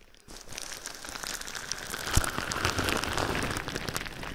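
A large sheet of clear plastic bubble wrap wrapped over a microphone is held and squeezed with the fingertips, rubbing and pressing the air bubbles. After a brief quiet start, a dense, irregular crinkling and crackling builds and stays steady, with bright, fizzy texture and a louder, sharp crunch near the middle.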